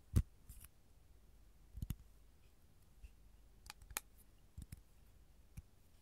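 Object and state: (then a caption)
Capiz shell tray tapped with nails. Long gold nails tap on an empty, flat rectangular capiz shell tray, making quiet, sharp clicks spaced irregularly with short pauses between. Each tap is brief and dry, with almost no ring, and the first tap is the loudest.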